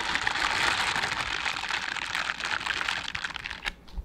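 A pair of mint-green silicone dishwashing gloves with bristle pads, worn on both hands, has its palms and bristles rubbed against each other. This produces a dense, continuous crackling and scratchy rustle that is bright and thin with almost no low end. The rustle thins out toward the end, leaving a few sharper ticks before stopping.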